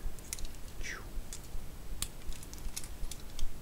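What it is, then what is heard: Plastic toy brick model. Long nails tap and scratch a small hand-held model built from plastic LEGO bricks with minifigures while it is turned in the hands. Short, dry, irregular clicks and taps are heard, with one brief scratching sweep near the start, over a low, steady background rumble.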